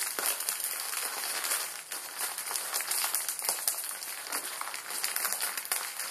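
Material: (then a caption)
Plastic film. A Maruchan instant ramen packet, plastic film around a dry noodle block, is bent and squeezed in both hands. This makes a steady, bright crinkling of the film mixed with crunching of the noodles. Dense sharp crackles run throughout, with almost no low end.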